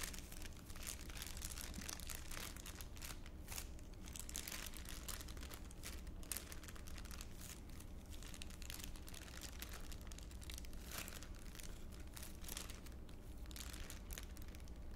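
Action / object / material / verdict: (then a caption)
scrape / thin clear plastic bag / plastic / none. A thin, clear, empty ULINE plastic bag is crinkled and crumpled by fingertips, held close to the face and then lowered. The result is a steady, dense stream of bright crinkles and crackles over a constant low hum, with no quiet gaps across the whole clip.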